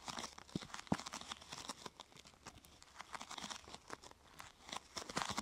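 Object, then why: Thin plastic sheet. Fingertips and nails press, rub and scratch the surface of a thin, glossy purple plastic sheet curved into a hollow half-tube. The result is a quiet, continuous stream of crisp crinkling and crackling with short, bright scratchy bursts and a few sharper pops.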